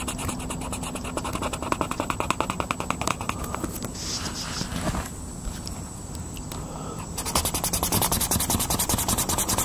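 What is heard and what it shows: A hand rubs and scratches an orange oil pastel or crayon across an open paper coloring book page lying flat on a wooden picnic table, coloring in a tractor picture. Rapid, dry scratchy strokes repeat in quick runs, ease into a softer, quieter scraping stretch midway, then pick back up louder and brighter toward the end.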